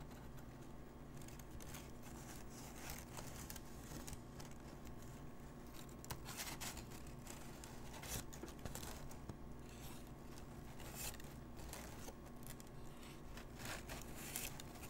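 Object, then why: Thin paper sheet. Fingertips rub, press and crinkle a large, thin, crumpled and folded sheet of paper lying flat. Soft, continuous crackling and rustling runs throughout, with brief brighter crinkles over a steady low hum. The level stays quiet and even for the whole clip.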